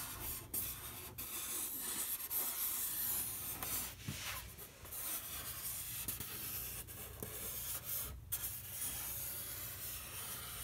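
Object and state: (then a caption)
Painted polystyrene foam board. A bare fingertip rubs and traces along a large, flat white polystyrene foam board lying on a table, its surface painted in red acrylic with a dog and the word "MYSTICAL." The result is a soft, continuous, bright scratchy rubbing with small dry scuffs and short pauses, over a steady low hum.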